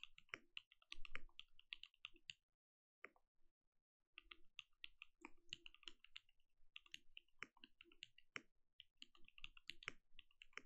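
Fingertips type continuously on a compact mechanical keyboard with plastic keycaps, making quick, dry clicks and soft clacks with a muted low thock under bright key ticks. The typing runs in bursts with a brief pause near the three-second mark.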